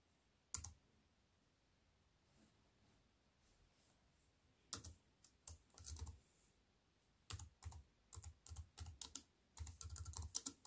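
Fingertips with long white-painted nails tap on a compact wireless keyboard with black plastic keys and a grey metal-look frame, lying flat on a wooden table. Scattered single taps and quick clustered runs of typing make sharp plastic clicks with a soft low thud and bright ticking nail edges. Each tap dies away at once, with quiet pauses between bursts.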